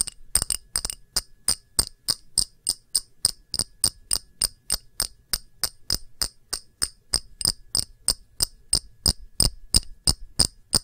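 A small, round, empty clear glass dish with a textured rim is held in both hands and tapped with long nails, about three dozen times at a steady pace of roughly three per second. Each tap is a short, bright glassy click with almost no ring, and the taps get a little faster and slightly louder toward the end.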